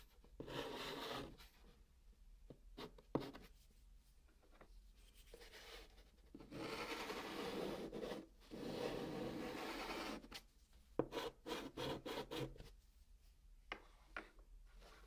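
A stick of white chalk held in the fingers scratches across the flat top of a large, hollow brown cardboard box, drawing a moon and a star beside the written words "Good Night Sweet Dreams." Long, gritty rasping strokes alternate with quick, short scratches and taps that carry a hollow, papery resonance. Quiet pauses fall between the strokes.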